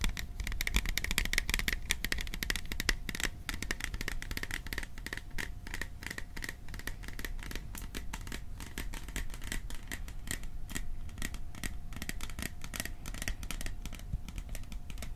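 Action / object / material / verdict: tap / small metal popcorn tin / thin metal / none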